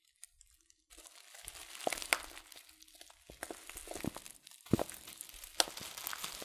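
A yellow, hand-sized Sir Winston Tea "Broken Orange Pekoe" package of laminated paper and foil, full of loose tea, is held in one hand and crinkled and squeezed with the fingertips. After about a second of near silence, dry, bright crinkling and crunching rustles begin, with sharper crackles rising out of the steady rustle.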